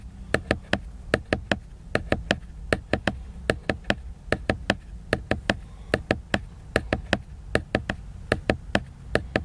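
Fingertips tap the glossy laminated paper cover of a large picture book, making 35 short, dry taps in quick groups of three. Each tap clicks sharply up into bright high tones and dies away almost at once, over a steady low rumble.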